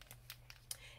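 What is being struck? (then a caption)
Acrylic paint marker with a small mixing ball. An acrylic Posca paint marker is shaken before use, and the small mixing ball inside makes quick, bright rattling clicks over a faint low hum. The ball is there on purpose to mix the paint, which otherwise separates into white pigment and clear liquid.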